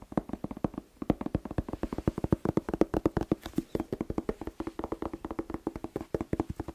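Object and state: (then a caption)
Red bell pepper, hollow. A whole fresh red bell pepper, hollow and hand-sized, is tapped quickly with fingertips and nails. It makes a fast, uneven stream of short, dry, hollow knocks with a low-mid tone. The knocks die away almost instantly, with a short gap near the start.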